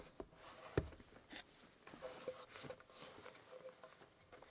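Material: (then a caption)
Wood. A small, hollow, carved antique wooden box with its lid closed is held in the hands while fingertips rub and scratch across its carved wooden surface. Quiet, dry scratching and soft rubbing come in short bursts, with one sharper knock early on. Each sound dies away almost at once.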